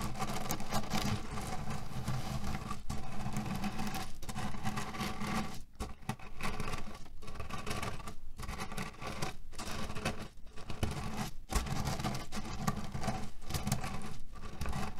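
A small square cotton cushion with a red cherry print, filled with cherry pits, is pressed, kneaded and rubbed with flat hands and fingers. The pits inside rustle and crunch in a steady, dense, low-heavy patter, with brief quieter dips between strokes.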